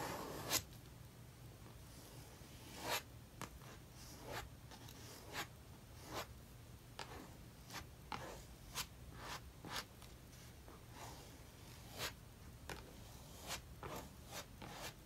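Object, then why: Metal palette knife on a paper sketchbook page with thick acrylic paint. A metal palette knife scrapes and spreads thick maroon acrylic paint across a paper sketchbook page. Quiet, short, bright rasping strokes come one after another at irregular intervals over a faint steady low hum.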